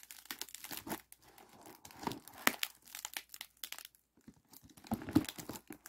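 A hollow, ribbed aluminum foil flexible duct is held in both hands and squeezed. The foil gives off irregular bursts of bright crinkling and crackling, with a brief pause around the four-second mark before the crinkling resumes.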